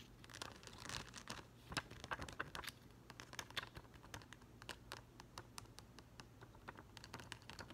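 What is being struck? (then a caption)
Plastic rhinestone sticker sheet. Short green nails quickly tap and rake over the gems of a yellow plastic rhinestone sticker sheet held in both hands. The result is a dense run of sharp, dry, clicky ticks, much like typing on a keyboard, with bright transients and a faint steady low hum underneath.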